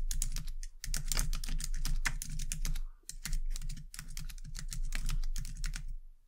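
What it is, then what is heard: Plastic computer keyboard. Long dark-painted nails and fingertips type continuously on a white low-profile plastic computer keyboard resting on a desk. The result is a rapid stream of light, sharp clicking keystrokes with a short pause near the middle, over a steady low hum.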